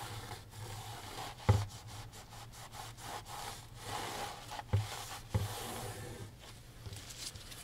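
A gloved hand rubs a microfiber rag along the wooden frame and canvas edge of a framed oil painting lying flat. Soft, steady swishing strokes sit over a low, constant hum, broken by a few sharper bumps.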